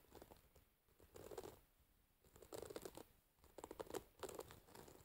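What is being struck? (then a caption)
Wooden paddle hairbrush with metal pins. Long nails on both hands scratch and pluck through the dense metal pins of a wooden paddle hairbrush lying pins up. Quiet bursts of crinkly, bright scratching and ticking plucks come in clusters, separated by near-silent pauses.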